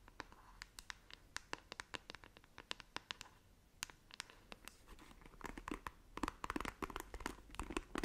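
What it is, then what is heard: Plastic paddle hairbrush scratched with nails. Long nails tap and scratch across the smooth back of a black plastic paddle hairbrush, making quiet, sharp, bright clicks with a dry scraping texture. The brush is then turned to its bristle side, and the scratching becomes denser and louder, with rapid crackling strokes.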